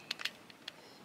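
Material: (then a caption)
Polymer. A Glock 43X magazine locked into a standard Glock's polymer pistol frame rattles as the pistol is shaken, showing it fits loosely. Four short, bright clicks are heard: two close together at the start and two lighter ones after a pause.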